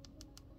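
Four light, sharp taps on a dip powder acrylic nail coating, tested for hardness a few minutes after the layers are activated. The clicks sound hard and solid, showing the coating has hardened enough to start filing.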